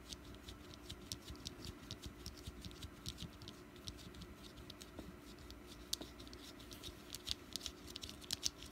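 Long fingernails on both hands tap and scratch the top of a small, solid orange jack-o'-lantern wax candle resting on a mat. The result is a quiet, steady stream of crisp, bright clicks and scratchy rustling, with sharper taps growing more frequent toward the end over a faint low hum.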